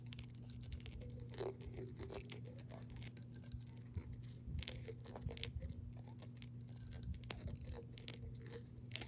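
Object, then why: Glass jar partly filled with water. Long nails tap and scratch the side of a clear glass mason jar, partly filled with water and held tilted. Quick, sharp clicks and soft scrapes ride over a high, wavering glassy tone and a steady low hum.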